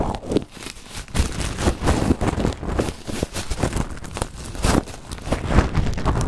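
A clear plastic bag full of small green translucent acrylic gems is squeezed and crinkled by hand close to the microphone. The result is a steady, dense crinkle with soft clicking and shifting of the gems, heavy in low, thumpy rumble with little bright edge. It swells and dips in loudness throughout.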